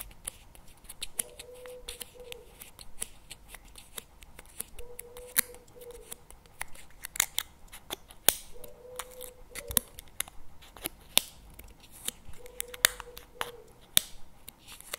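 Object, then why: Plastic spread tub lid. Fingertips and nails tap on the lid of a CremaNovi plastic tub held in both hands, making many sharp, bright clicks of uneven loudness over a quiet background. A faint low-mid tone around 500 Hz rises briefly four times between the taps.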